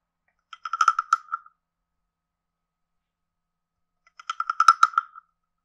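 A hand-sized, carved, hollow wooden frog guiro with a ridged back is played with a wooden stick that scrapes the ridges and taps the head. Two short bursts of rapid, dry, clicking rasps are heard, separated by about two and a half seconds of silence. They have a woody, hollow tone near 1.3 kHz with bright upper overtones and almost no ring.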